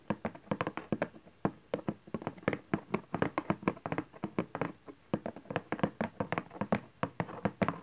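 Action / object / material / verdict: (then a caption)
tap / cardboard box / cardboard / none. Fingertips and nails tap rapidly on the bottom face of a cardboard camcorder box resting on satin fabric, then hands hold its sides. The taps are dry, short and hollow, with a low-mid body and almost no ring, falling into uneven quick bursts with brief pauses.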